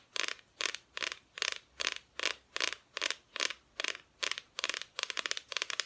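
Long nails tap and scratch across the front of a flat, solid, painted wooden Christmas decoration cutout. Short, bright, rasping bursts repeat at a steady pace of about two and a half per second, breaking into quicker clustered taps near the end. Each burst stops dry, with no ring.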